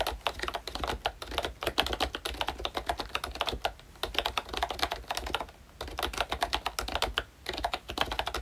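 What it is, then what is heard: Plastic membrane keyboard, typing. Fingertips of both hands type steadily on a full-size pink ROYCHE Disney Mickey Mouse retro keyboard with a plastic case, round dark green plastic keycaps and membrane switches. The result is a rapid stream of short, soft plastic clacks with a bright edge and almost no ring. A few brief pauses break up the typing, the longest near the middle.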